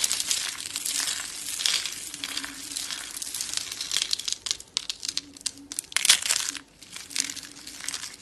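Black-and-white marbled dry soap rolled into solid, brittle rosette curls is crushed and crumbled into flakes between fingers with long dark nails. Dense, bright crinkling and crunching crackles fill the clip, with sharper snapping bursts toward the end as the curls break apart.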